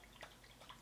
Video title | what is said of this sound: Best Foundations For Mature Skin - Over 50 Makeup - Flawless Skin | you can hear the water shaking around so you do shake it up before you use it